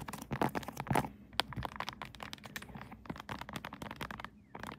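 A pink 3D silicone Kirby phone case with raised buttons, fitted on a smartphone mounted on a tripod, is tapped and scratched with long acrylic nails across its raised keys and flat surface. Quick, irregular clicks and crackly scratches come in dense bursts with brief quieter gaps, each tap short and dry with no ring.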